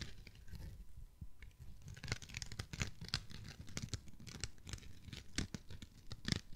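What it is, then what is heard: Foam kitchen sponge being scratched. Fingernails scratch and rub the surface of a foam kitchen sponge with a scouring-pad side, held close to the mic. It makes a dense, dry, tearing rasp of quick scrapes with sharp, bright crackles over a low, rough rumble.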